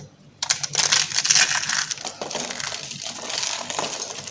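A pile of pink and cream dry soap curls, thin and hollow rolled shavings, is crushed and crumbled in the hand with fingers and long dark nails. After a brief near-silence, a burst of dense, bright, dry crackling and crunching begins and continues, easing slightly toward the end.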